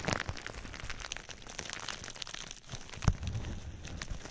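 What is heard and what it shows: Fingertips scratch and rub the sides of clear plastic bubble wrap wrapped around a binaural microphone. Close, dense crinkling and scratching comes with soft low thumps and bright plastic rustle. A single sharper crack stands out about three seconds in.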